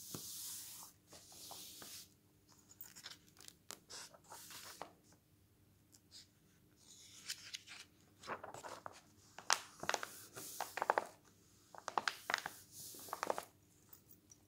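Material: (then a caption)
Coated paper. A glossy paper travel magazine lies open on a table as a palm rubs the page flat, then fingers flip its thin coated pages. Soft, airy brushing gives way to a series of crisp, bright paper crackles and snaps that grow sharper and louder toward the end, with quiet pauses between turns.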